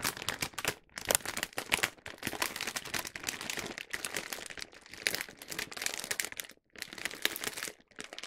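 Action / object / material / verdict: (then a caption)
shake / large plastic film bag of wrapped snack packs / plastic film / none. A large printed plastic film bag of Hoshi Tabeyo snacks, full of individually wrapped snack packs, is held in both hands and shaken and crinkled. Dense, bright crackling and rustling comes in bursts with brief quiet gaps, and the sound is mostly high with almost no low end.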